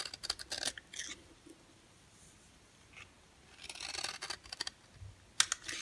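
A yellow oval bar of dry solid soap, held in the hand, is carved and scraped with a box cutter blade. Quick clusters of crisp, bright scraping and shaving sounds come at the start and again after a quiet pause, ending with a sharp click.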